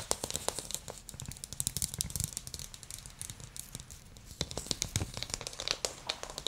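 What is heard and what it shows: A small glossy blue ball, likely hollow plastic, is held up and tapped with fingernails and fingertips. A rapid, uneven series of bright, crisp clicks and ticks is heard, mixed with softer, duller low taps, each dying away almost instantly.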